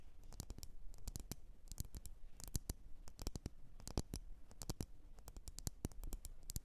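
Long nails tap rapidly on the rim and sides of a lit, wax-filled red glass candle jar. Quick, sharp taps with bright clicky tops die away almost at once over a steady low rumble, in an uneven flurry that rises and falls in strength.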